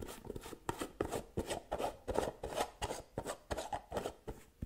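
Long nails rapidly tap and scratch the gold metal screw lid of a small round white cosmetic jar held in one hand. Quick, irregular bursts of dry clicks and scraping rasps follow one another with almost no ring, their midrange tone brightened by a high, hissy edge.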